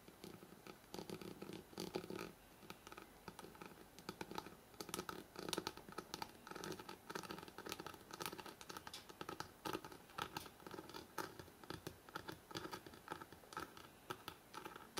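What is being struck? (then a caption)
Paper page edges of a hardcover book. Fingertips and short nails quickly scratch and tap the stacked paper page edges of a thick hardcover book held horizontally. The result is a dense, continuous stream of crisp, dry scratches and light taps with a bright, papery rasp and very little low end. Each tap dies away almost instantly.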